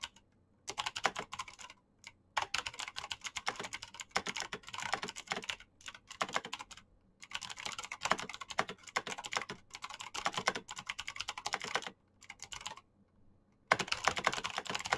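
Fast two-handed fingertip typing on a black Razer mechanical keyboard with plastic keycaps and clicky switches produces dense bursts of sharp, bright clicks and clacks with almost no ring. The typing comes in quick runs separated by a few short pauses, with the last run starting loud after a longer silence.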